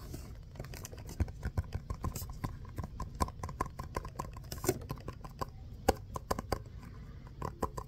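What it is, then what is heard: Foam stress ball. Fingernails scratch and tap a small orange textured foam stress ball shaped like a basketball, held close. A quick string of dry, muffled taps rises over a low, soft scratching bed, each tap dying out almost at once.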